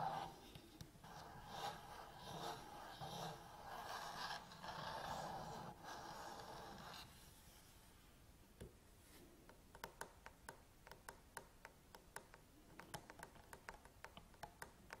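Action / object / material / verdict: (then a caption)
tap / plastic DSLR camera body / hard plastic / none. A black Canon DSLR with its lens, a dense object with a hard plastic shell, sits on a table while long nails and fingertips tap and scratch the top of its body. For the first seven seconds, soft, breathy, rushing scratching swells and fades. After that come many quick, sharp, bright clicks at an uneven pace.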